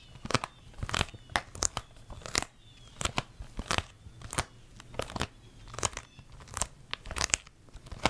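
Long red nails tap a closed, hollow plastic DVD case with a printed sleeve, held in both hands. The result is an irregular series of about twenty sharp, dry, bright clicks with a crinkly edge and no ring, over a faint low hum.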